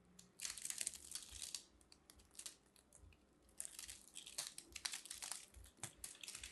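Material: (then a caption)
Soap. A fist-sized, solid pink ball of grated soap, held in a hand with long manicured nails, is scraped and cut with a metal blade tool, crumbling into shavings. Bright, dry crunching and crinkling scrapes come in uneven bursts with brief quieter gaps, almost entirely high-pitched with very little low end.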